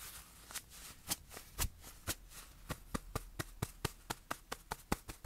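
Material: Fabric.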